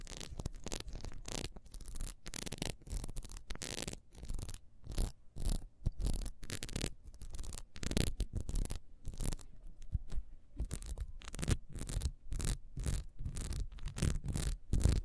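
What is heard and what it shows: Long nails scratch quickly along the rings of a solid ribbed beeswax candle, first held in the hand and then standing upright. Rapid dry scraping strokes come in dense bursts, each with a bright rasp over a soft low thud. They stop short, with brief pauses between runs.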